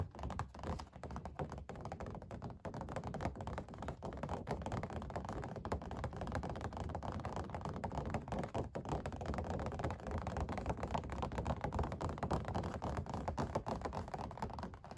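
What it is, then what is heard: Oil painting on stretched canvas. Both hands rapidly tap with fingertips and nails on the textured paint of a puppy oil painting on stretched canvas over a stretcher frame. The result is a dense, irregular patter of dull, low, drum-like thuds with very short decay and almost no bright content, continuing steadily throughout.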